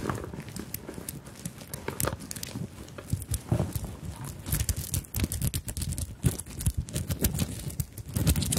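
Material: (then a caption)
Sequins, beads. Long nails tap and scratch across a small fabric handbag covered in sequins and beads, held close to the microphones. The result is a dense, irregular run of short clicks and rustling scrapes with bright, crisp edges over a soft, low body. Each sound dies away almost instantly.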